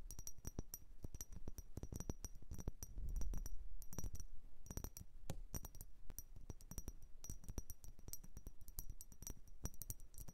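A blue vase is tapped and scratched with quick, irregular strokes. Bright, coin-like clinks ring high and die away almost at once, over a soft low rumble.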